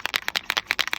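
A DecoColor acrylic paint pen filled with silver paint is shaken before use, and the mixing bead inside rattles in a quick series of sharp, bright clicks. The bead mixes the paint, and the rattle is normal.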